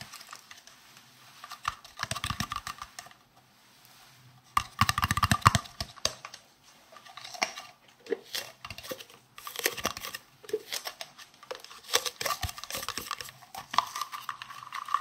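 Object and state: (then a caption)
Plastic round case. A hollow, green, translucent plastic round case is held in both hands and tapped with fingernails. Bursts of quick, clicky taps with a crinkly edge come in clusters, with short quiet pauses between them. The taps are dry and short, with a bright top.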